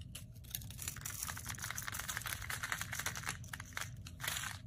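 A metal utility blade scrapes and cuts thin slivers from the edge of a solid, palm-sized rectangular white bar of soap held in the hand. A dense run of dry, crinkly scraping and crunching fills the clip, with bright, hissy texture over a steady low rumble.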